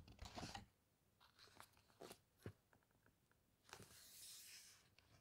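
Glossy pages of an open hardcover atlas-style book are rubbed and squeezed with a flat hand and nails, giving soft crinkly crunches and brief brushing scrapes. A page is then turned with a broad, bright papery swish.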